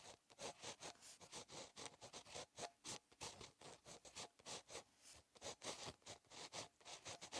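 A ballpoint pen tip scratches across a solid, flat, lined paper notebook page during handwriting. The result is a quiet, steady run of short, bright, dry scratching strokes with almost no low end, each stroke stopping abruptly between brief pauses.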